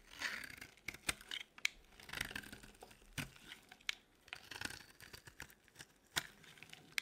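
A metal blade shaves curls from the edge of a solid, dry, cream-white bar of soap held in the palm. The result is quiet, dry, crackly scraping strokes with sharp clicks and bright crinkling texture between brief pauses.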